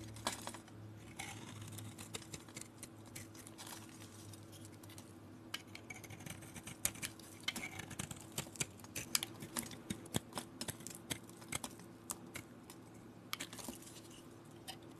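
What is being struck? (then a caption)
Bar of soap carved with a metal blade. A galaxy-painted solid white soap bar, held in the hand, is scraped and carved with a metal blade. Crisp, bright scraping and dry clicking ticks come in quick irregular bursts, growing busier midway, over a faint steady low hum.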